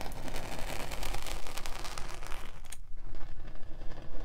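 A metal spiked pinwheel is rolled and pressed along the surface of a solid pink kinetic sand slab, scratching rows of perforations into it. It makes a dense, continuous crackling and scraping texture dominated by low rumble, bright and gritty for the first two and a half seconds, then duller and darker toward the end.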